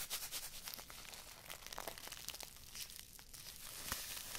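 A small filled paper tea bag on a string with a red tag is rubbed and crinkled between fingertips and long nails close to the microphones. Soft, bright crinkling and papery rustles come in quick bursts, with dry crackles sharper than the rest.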